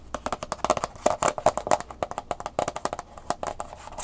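Long nails scratch and rub the back label of a hand-sized, round, hollow plastic clamshell blister pack holding an Angry Birds flash drive, then move to tapping its front. About 26 quick, dry taps and scrapes follow one another in a fast, uneven rhythm, each with a hollow plastic tone around 613 Hz and bright, crackly edges that die away almost instantly.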